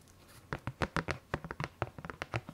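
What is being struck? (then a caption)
Plastic candy tub lid. Long fingernails of both hands tap and scratch the hollow-sounding lid of a large printed Haribo plastic candy tub, held up and then laid flat. After a quiet start, about fourteen short, dry clicks and scrapes follow in quick succession, each with a low hollow knock under a brief bright tick and almost no ring.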